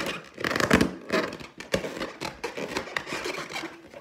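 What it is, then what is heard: Latex balloon. Long teal nails scratch and tap the surface of an inflated clear latex balloon with a gold pineapple print, hollow and air-filled, held in one hand. Dry, rubbery squeaks and scratchy strokes swell and fade in uneven bursts, broken by short taps that die away almost at once.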